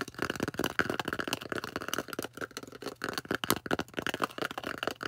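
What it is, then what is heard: Styrofoam disc being tapped and scratched. Long orange nails tap and scratch the flat face of a thick, solid, plate-sized white polystyrene foam disc. Dense, rapid dry clicks and scrapes overlap with a squeaky mid-range tone, and the taps die away almost instantly.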